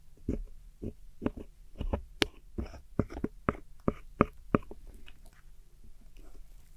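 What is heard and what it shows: A metal hook tool scrapes and digs at crumbled silver and cream pressed powder eyeshadow pans set in a small square black plastic palette. Short, dry scratching and tapping strokes come at an uneven pace over a steady low hum, each stroke ending abruptly with no ring.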